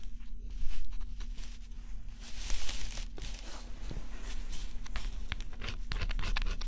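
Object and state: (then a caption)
Scratch-off cardboard puzzle being scraped. A small stylus held in the fingers scratches the black scratch-off coating on a flat, thin, coated cardboard jigsaw puzzle. Short, irregular bursts of dry, bright scratching and crinkling rise and fall over a steady low hum.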